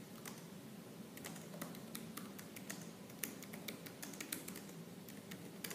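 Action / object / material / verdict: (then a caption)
tap / plastic laptop keyboard / plastic / none. Fingertips with purple-painted nails type quickly on the black plastic keys of a silver laptop keyboard. Sharp, bright clicks and clacks patter in an uneven, busy stream over a steady low hum.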